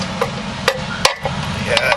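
A hammer taps a chisel around a new oil seal in the metal timing cover of a blown early Chrysler Hemi poly engine to check that it is driven down evenly. The taps are short, sharp metallic clicks with a brief ring near 530 Hz over a low background hum. The seal sounds flat and evenly seated all the way around.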